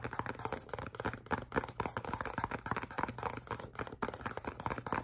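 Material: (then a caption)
Cardboard. A small, hollow, black printed cardboard perfume box is held in both hands and scratched and tapped with the fingernails. Quick, dry scratches and light taps follow one another in a busy, uneven rhythm, each one short with almost no ring. A faint, steady low hum runs underneath.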